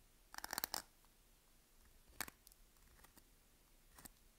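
A utility knife blade scratches a crosshatch grid into the surface of a solid green Palmolive bar soap held in the hand. Quiet, dry, bright scraping crunches come in short bursts: a cluster near the start, a sharper stroke at about two seconds with fainter scratches after it, and a final one near the end. There is almost no low end, and each scrape cuts off abruptly.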